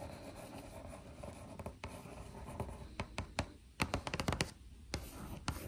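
Long acrylic nails scratch and tap across the front panel of a hollow, printed cardboard biscuit box. A soft, steady scratching texture with a low hollow body runs through the first half. It gives way to a quick series of sharp, bright taps that die away almost instantly.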